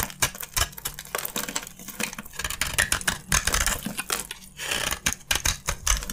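A utility knife blade scrapes and carves crunchy chunks from an oval, solid, hand-sized bar of dry white soap with a gold coating, held in the hand. Rapid, dry crunching and scraping crackles come in dense, bright bursts with short pauses between strokes. A faint low hum runs underneath.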